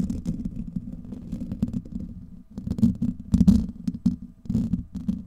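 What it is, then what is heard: Metal mesh microphone grille being scratched. Fingertips and nails of both hands scratch and rub a hollow, domed steel wire-mesh microphone grille. The result is a dense, low, rumbling scrape centered around 200 Hz, with faint bright crackles on top. It dips briefly near the middle, then returns in louder, choppier bursts.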